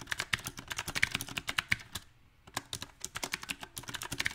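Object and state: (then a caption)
Mechanical keyboard with plastic keycaps being typed on. Fingertips type on a backlit compact mechanical keyboard with round typewriter-style plastic keycaps on a silver metal frame. Bright, sharp clicks come in an uneven, rapid rhythm, with a brief pause near the middle. Each keystroke is short and dry, with almost no ring.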